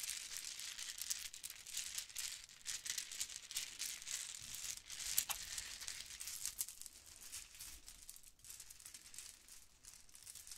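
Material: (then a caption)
Plastic. A bunch of metallic gold and blue plastic Mardi Gras bead necklaces, small hollow beads on strings, is held in both hands and rolled and rattled with long painted nails and fingertips. The result is a soft, continuous, bright clicking rattle with an irregular rhythm, almost entirely in the high range with very little low end. One sharper click stands out near the middle, and the rattling grows slightly quieter toward the end.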